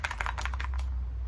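An orange plastic Easter egg holding a nickel is shaken and opened, giving a quick series of light, clicky rattles during the first part of the clip. The rattling then stops over a steady low hum.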